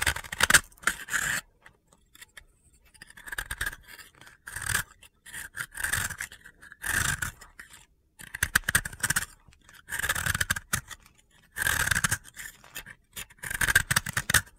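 A utility blade scrapes powdery flakes off a solid, hand-held, dry blue soap disc in a series of short, gritty strokes separated by brief pauses. Each stroke gives a dry, crunchy rasp centred around 1.5 kHz with bright, hissy highs, and the sound stops dead with no ring between strokes.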